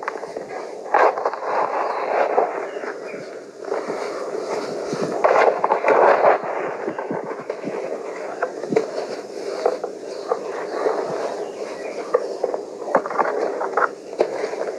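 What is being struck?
Heap of crushed gym chalk powder.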